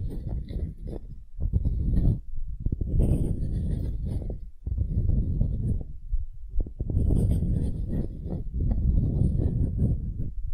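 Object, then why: Light wooden cube, end grain. Long nails scratch the end-grain face of a solid, light wooden cube, making dense, rough scraping that sits mostly in the low range with only faint bright hiss. The scratching comes in steady bursts separated by brief pauses near 1.3, 2.3, 4.6 and 6 seconds.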